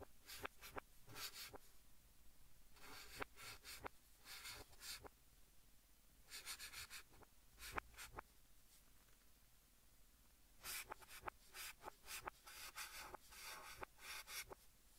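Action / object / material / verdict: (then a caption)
scrape / chalk stick on a slate-style chalkboard / chalk / none. Fingertips hold a white chalk stick and write English text on a large, flat green chalkboard, scratching it across the surface, with the sound played in reverse. Quiet, bright, scratchy bursts of strokes come in short clusters separated by near-silent pauses.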